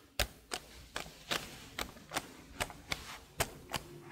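Long blue nails and fingertips tap and type on the keys of a detached black plastic laptop keyboard held in front of a microphone. Around ten sharp, bright plastic clicks land at an uneven pace, each dying away almost at once over a faint background hiss.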